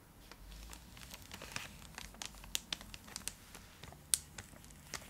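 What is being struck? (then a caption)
Foil-lined plastic chocolate bar wrapper. Long acrylic nails scratch and crinkle the foil-lined plastic wrapper of a full, large purple Cadbury Dairy Milk block held beside the face. The result is a steady, bright crinkling texture with scattered sharp, high clicks and crackles that die away almost instantly, over a faint low hum.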